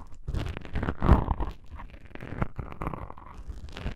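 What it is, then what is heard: Foam microphone windscreen. Long pink-painted nails scratch two small black foam windscreen covers on a binaural microphone, producing close, muffled rustling and crunchy scratching dominated by low, bassy thumps. The scratches come in dense, uneven bursts with a louder flurry just after one second, then settle into steadier soft scraping.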